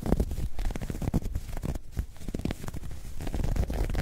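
A soft, hollow, dark grey ribbed knit fabric bag is crumpled and scratched with long nails and fingertips. The result is a dense run of quick, rough scratching strokes and muffled crinkling, heavy and rumbly in the low end with almost no bright top. The level stays fairly steady throughout.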